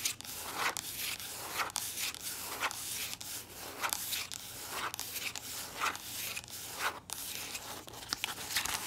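Long nails rub and scratch across the surface of a soft plastic body lotion tube that appears full. The result is a steady series of dry, bright, scratchy strokes with almost no low end, each stroke rising and fading quickly.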